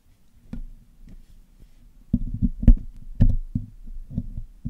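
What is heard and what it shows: The hollow black metal mesh grille of a Blue Yeti microphone is picked and cleaned with metal tweezers and a metal needle pick. It produces a series of irregular, short, dull low thumps and knocks, with a few brief brighter clicks where the metal tools catch the mesh. The taps come at an uneven pace and grow louder in the second half.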